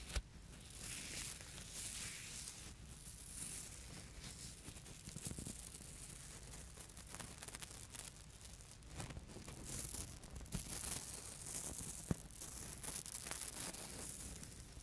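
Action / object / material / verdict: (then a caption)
scrape / tulle net fabric / nylon mesh / none. A hand with long red-painted nails pinches and scratches the mesh of thin white sheer tulle net fabric lying flat on a surface with a fingernail. Quiet, continuous raspy scratching and crinkly rustling fills the high range, with a few sharper clicks around the middle and later. A steady low rumble sits underneath throughout.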